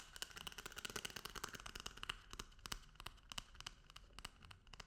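A paper toilet paper roll is tapped and rubbed, giving a rapid run of light, dry taps with a crinkly, papery rustle between them. The sound is quiet and bright, with a clear tone near 2.9 kHz and almost no ring after each tap.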